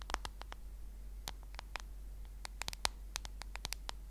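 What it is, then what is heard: Smartphone case tapped with fingernails. Long nails of both hands tap the black case of a smartphone held horizontally in front of the mic, and the phone feels solid. An irregular series of sharp, bright, very short clicks stands out over a steady low hum, with some taps louder than others.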